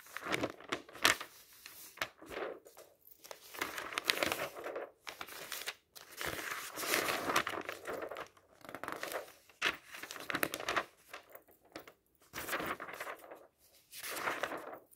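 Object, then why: Paper magazine pages. Fingertips turn the thin paper pages of an open magazine lying on a table. The pages rustle, crinkle and flap in quiet, bright bursts with almost no low end, separated by short silences.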